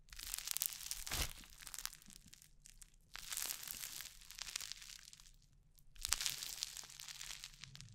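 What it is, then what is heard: Crunchy foam-bead slime. Orange crunchy foam-bead slime (floam) is stretched into strands near the mic, pressed between palms and fingertips, and squished. It makes dense, bright crackling and popping crunches that come in three swells, each fading to quieter fizzing before the next squeeze.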